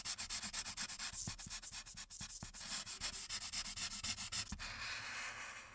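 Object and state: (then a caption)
Marker strokes on a paper sheet. A light-blue marker tip rubs back and forth across the top area of a printed paper coloring sheet lying flat. Quick, bright, scratchy strokes repeat at about four per second, with a few soft low taps between them. The strokes blur into a steadier, fading hiss near the end.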